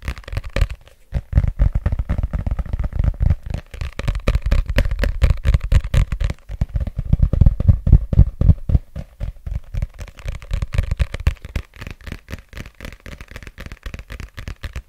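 Fingertips and nails tap and scratch the glossy cover and spine of a red paperback book, a solid paper block held in both hands. The result is a dense, irregular run of quick, dull thumps heavy in the low end, layered with crackly scratching that dies away almost instantly after each touch. The tapping thins out and grows quieter toward the end.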